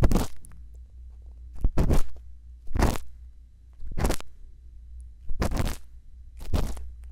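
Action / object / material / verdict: scrape / silicone microphone ear scraped by a bamboo pick / silicone / none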